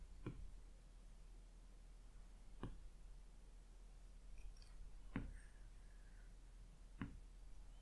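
An Apple Pencil's hard plastic tip taps the glass touchscreen of a large flat iPad, a solid slab lying on a fluffy rug, picking colours from a palette and placing dots. Quick, light, separate taps each give a short, soft, dull click with little ring, spaced out over a quiet, steady low background hum.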